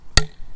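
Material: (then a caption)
Wood. A hammer strikes a 1/2 inch birch dowel driven into a 7/16 inch tap hole in a maple tree trunk, left after the tap was pulled. A single short, low, solid knock is heard with almost no ring. The tight interference fit means the dowel is driven home, sealing the hole.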